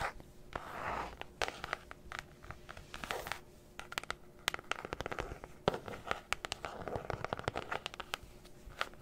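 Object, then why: Faux-leather covered notebook. Long acrylic nails scratch and tap a flat, book-sized black faux-leather notebook cover held close to the mic. Soft, hissy scratching swells are broken up by many sharp, dry clicks in an irregular rhythm, over a faint steady tone near 400 Hz. Each tap stops almost at once, with no ring.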